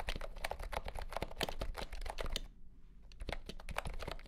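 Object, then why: Compact plastic keyboard with round keycaps. Fingertips type on a compact pastel green plastic keyboard with round keycaps and a hollow body, under green light. Rapid, clacky keystrokes with a hollow low thump and bright clicks fill the clip, pausing briefly just past the midpoint before the typing resumes.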